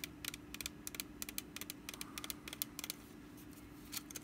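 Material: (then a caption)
Wicker. Long nails scratch the ribbed woven sides of a small, hollow, orange woven wicker pumpkin basket held in one hand. About seventeen quick, dry, bright scratching clicks rasp out in irregular bursts over a faint steady low hum.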